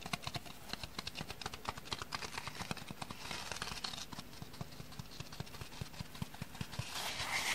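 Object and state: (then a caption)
Dry sponge tapped. Dry sponges are tapped in a rapid, irregular series of short, dry taps with no ring, set over a faint steady hiss. Near the end, the sound swells into a louder, brighter rustle.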